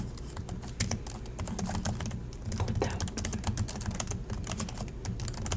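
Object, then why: Plastic laptop keyboard. Both hands type continuously with their fingertips on the plastic chiclet keys of an Acer laptop keyboard. The result is a steady, dense stream of short, bright plastic clicks and taps over a low hum, with no pauses.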